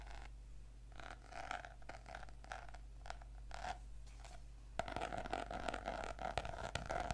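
Medium-length fingernails and fingertips scratch and tap across the glossy laminated cardboard cover of a closed purple notebook lying flat on a table. Soft, irregular scratching and light tapping fill the first part, then grow louder and busier after about 4.8 seconds, with a faint low hum underneath throughout.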